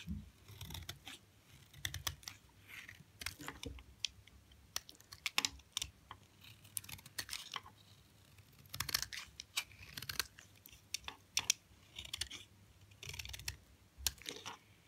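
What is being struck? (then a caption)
Bar of soap shaved with a blade. A utility knife blade shaves a narrow, solid strip of hard, dry white soap held in the fingers into flakes. Each stroke makes a crisp, bright scraping crunch, and the short bursts come in quick, irregular clusters over quiet pauses. Thin flakes of soap come away from the bar.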